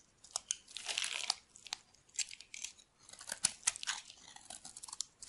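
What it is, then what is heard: Dry bar soap being shaved. A solid white oval bar of dry soap, held in the hand, is shaved with a metal knife blade. The clip is a run of crisp, bright scraping and crunching strokes, some short and some drawn out, with almost no low end and quiet gaps between bursts.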